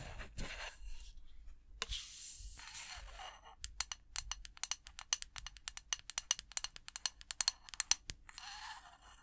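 Long acrylic nails scratch and tap the side of a snowflake-printed glass candle jar with a metal lid rim, held in both hands. Soft, hissy scratching gives way to a quick run of sharp, bright, dry clicks that die away almost instantly, then a short scratch returns at the end. The sound is quiet and close.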